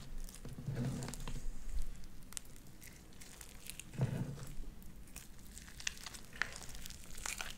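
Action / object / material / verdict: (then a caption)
scrape / sticky slime with small beads / slime / none. Light-blue sticky slime studded with white beads is pulled apart, then squeezed together in both hands. The result is quiet, wet, sticky crackling with bright little pops scattered throughout over a low rumble, and a fuller squelch near the start and again around four seconds.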